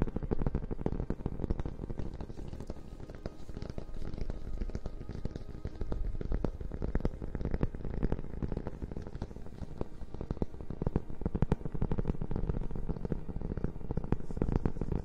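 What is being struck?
Hardcover book cover and spine.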